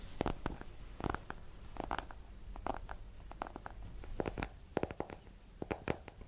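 A small, solid hardcover book with a yellow cover is held in both hands and tapped with long nails. The result is a quick, irregular run of dry, muffled taps with sharp clicky edges and a low, hollow thump under them. Each tap dies away almost instantly.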